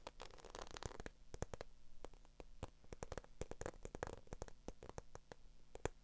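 Long acrylic nails scratch and tap across a small black croc-embossed patent faux leather handbag with a strap. A quick, uneven series of sharp, dry clicks rises over a low, soft rustle. Each tap is bright and dies away instantly.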